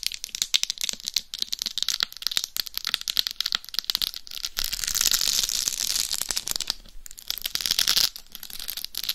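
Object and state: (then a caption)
Rhinestone-covered dummy head microphone. Long nails scratch across the forehead, face and top of a life-size binaural dummy head microphone covered in rhinestones over a hard shell. The result is a dense, bright, crackling scratch with many quick ticks and almost no low end, smoothing into a steadier rasp in the middle before briefly dropping out and resuming.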